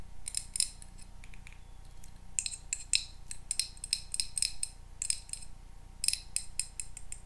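A small square glass candle holder filled with pink wax is held in the hands and tapped and scratched with paper clips worn as nails on the fingertips. Bursts of bright, high-pitched clicks and short scrapes come in quick clusters with brief pauses between them, over a steady low hum.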